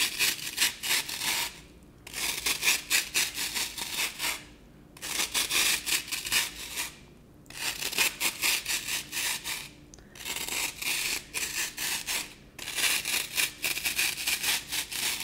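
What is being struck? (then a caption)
Green floral foam block. Long nails scratch and dig into a dry, porous, brick-sized rectangular block of green floral foam held in one hand. It makes six bursts of rapid, raspy, high-pitched scratching strokes separated by short pauses.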